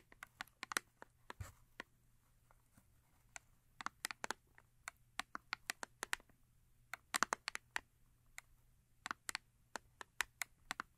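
Long acrylic nails tap and scratch the top face of a small paperboard Yardley soap box lying on fur. Quick, irregular series of sharp, dry, bright clicks with light scratching between them, each tap dying away almost instantly. Quiet overall, with little low end.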